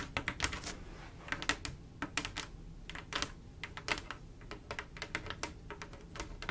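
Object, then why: Glass mosaic tile panel tapped with long nails. Long acrylic nails tap rapidly on a large, solid, flat glass mosaic tile picture made of silver mirror-like tiles. The result is a quick, uneven run of sharp, bright clicks that die away almost instantly, over a faint, steady low rumble.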